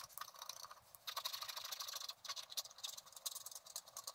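A wooden stylus scratches the black wax coating of a flat scratch-art card held in one hand, working in dense strokes. The result is a quiet, continuous run of bright, papery scratching made of rapid, clipped strokes with almost no low end. Brief pauses come between bursts.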